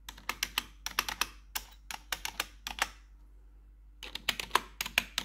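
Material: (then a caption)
Plastic. Long metal claw nails tap the keycaps of a black plastic RGB backlit computer keyboard, making bright, sharp clicks in quick bursts. The taps come in clusters, pause for about a second near the middle, then resume.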